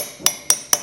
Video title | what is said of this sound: HOMEMADE OVERHEAD VALVE BRIGGS (part 23) | Nice and solid. So that's it. Our seal is in.